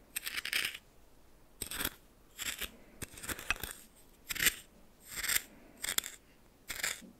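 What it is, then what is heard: Coarse salt stirred in a small bowl. A red plastic spoon stirs and scrapes through coarse salt in a small bowl. The result is a series of short, bright, crunchy, granular rasps separated by near-silent pauses, with almost no low end.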